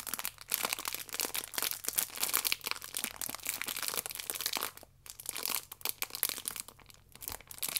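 A plastic-wrapped stack of yeast sachets is held by its side in both hands while fingernails scratch along the sachet edges through the plastic film. The result is dense, bright, crisp crinkling and scratching with almost no low end, easing briefly near the fifth and seventh seconds before picking up again.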